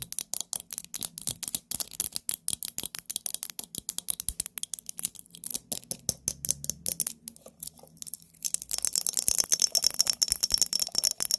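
Fingernails tap rapidly and unevenly on a pumpkin-themed glass mason jar. Each tap is a short, dry, bright click with almost no ring and no low end. Toward the end the taps crowd closer together into a thin, crisp clatter.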